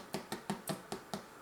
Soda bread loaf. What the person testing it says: tap it you should be able to hear that it sounds hollow which means that this is done and ready to eat